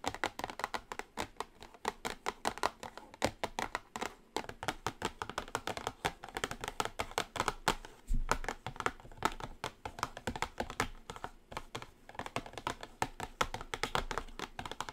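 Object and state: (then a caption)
Cardboard eyeshadow palette. Long nails tap rapidly and continuously on the top of a small orange Revolution Now eyeshadow palette, made of cardboard with a glossy wrap and lying flat. The result is a dense, steady run of short, dry clicks centred in the midrange, each dying away almost instantly.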